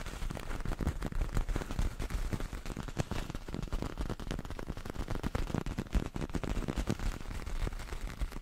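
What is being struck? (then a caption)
Cloth-covered filled juggling ball. A small, soft, multicolored cloth juggling ball, likely filled, is held up close beside a microphone while fingertips and nails scratch and squeeze it. The result is a dense, continuous stream of crackly, rustling scratches and short muffled crunches, heavy in the low end and with little high brightness.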